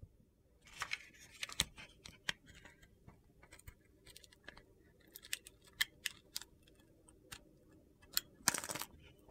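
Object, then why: Glittery bar soap cut with a metal blade. A metal utility knife blade carves crunchy chunks off a palm-sized navy and red glitter-coated bar soap, white inside, held in a hand with long red nails. About fourteen short, bright, crisp crunches and scrapes sound with quiet gaps between them, and a longer gritty scrape comes near the end.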